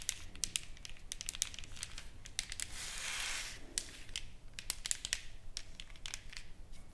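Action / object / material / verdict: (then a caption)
tap / engraved wooden board / wood / none. Long nails tap and scratch across a solid, flat wooden plaque with engraved lettering and painted flowers, lying on a table. Quick, bright clicks with almost no ring are scattered throughout, and a steady, hissy scratching swell builds up and fades in the middle.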